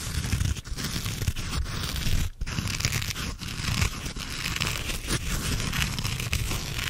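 Fingertips scratch and rub the surface of a hand-sized grey porous foam sponge with a foam handle, held close up. The result is a steady, dense crackling and rustling texture with a deep low rumble and a bright hiss, broken by a few brief dips, including a near-silent gap just after two seconds.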